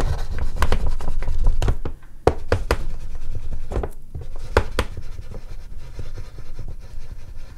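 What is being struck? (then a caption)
Sheet of artist's paper rubbed with an oil pastel. An oil pastel stick is rubbed in strokes over the top and side areas of a large, flat sheet of artist's paper resting on a board. The rubbing makes a dense, low, scratchy sound broken by sharper strokes, with a brief quiet near two seconds followed by a sudden sharp tap. The scraping then continues at a slightly lower, uneven level.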